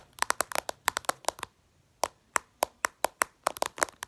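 Long purple nails tap fast on the reflective glass screen of a smartphone lying flat. The result is rapid bursts of sharp, dry clicks centred around 1 kHz with bright edges, no low end and no ring, separated by a brief pause around the middle.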